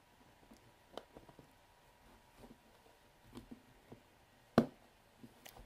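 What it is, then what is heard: Plastic cream jar lid being unscrewed. Fingertips grip the wide black plastic screw lid of a medium white plastic Syoss hair cream jar filled with cream, unscrew it, lift it off and screw it back on. Quiet, dry plastic clicks and soft scrapes sound at close range, with one sharper click near the end.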